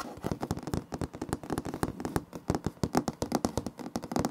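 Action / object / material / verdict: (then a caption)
tap / wood laminate floor / laminate / none. Fingertips and nails of both hands tap, knock and scrape across a large, flat, solid floor of light wood-grain laminate planks. The result is a rapid, uneven stream of short, dry clicks and knocks with brief scratchy scrapes between them. Each hit dies away almost instantly, with a low-mid body and crisp bright edges.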